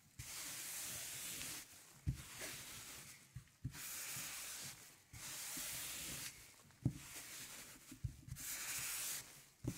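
A gloved hand rubs a record cleaning brush over the grooves of a 12-inch black vinyl LP with a light blue label, a thin solid PVC disc lying flat on a velvet tablecloth. Long, bright, hissing brushing strokes come in bursts of a few seconds, separated by quiet gaps. Soft low thumps fall between the strokes.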